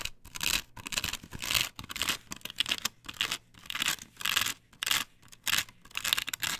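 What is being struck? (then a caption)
Perforated plastic stencil on a wooden board. Long nails scratch and rub across a flat, perforated plastic stencil template glued to a wooden board. Repeated bursts of dry, bright, raspy scratching come in an uneven rhythm, with brief pauses between strokes and almost no low end or ringing after each stroke.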